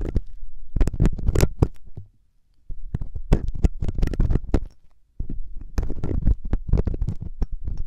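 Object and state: Silicone ear of a binaural microphone being scraped.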